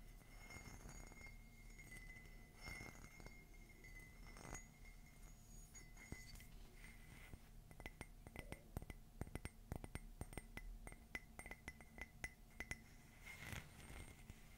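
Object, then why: Ceramic coffee mug. Fingernails tap and scratch an empty cream matte ceramic mug with a black rim and a "Love is Magical" design. Soft, low scratching comes first with a faint steady tone, then many quick, bright clinking taps that die away almost at once.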